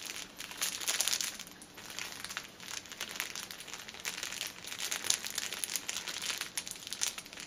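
Long nails scratch and tap the top and sides of a six-pack of paper pocket tissues in a crinkly plastic film wrapper standing on a table. The result is a steady, dense, bright crinkling and crackling of the thin plastic, with quick taps and no low-end thump.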